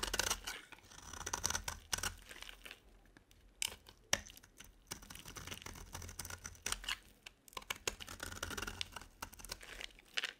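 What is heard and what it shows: A metal blade scrapes and carves crumbly shavings off a dry, solid yellow bar of soap with a blue edge, held in the hand. Bright, dry scraping and crackling come in bursts separated by short quiet pauses, with a few sharp clicks in between.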